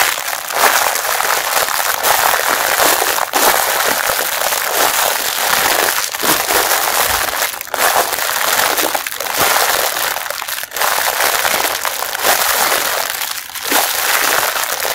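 Fingertips squeeze and scratch a hand-sized, soft, filled pink nylon mesh bath sponge sealed in a clear printed plastic wrapper with a blue label. A dense, continuous crinkling and crackling runs through the whole clip, bright and hissy with almost nothing in the low end. Brief dips break it up where the grip shifts.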